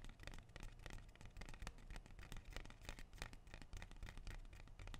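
A large, dark green, glossy, leathery rubber plant leaf is held in one hand and scratched quickly along its surface with fingernails. The result is a quiet, rapid run of dry, scratchy strokes with short, bright crackles over a soft low rumble.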